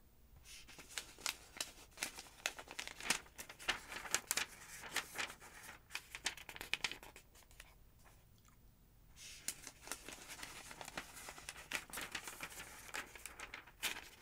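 A hand rubs the page of a thick, open paper phonebook, then long-nailed fingers lift and turn its thin paper pages. Bright, crisp crinkles, rustles and papery snaps come in quick bursts, go quieter to a soft hush for about a second near the middle, then pick up again.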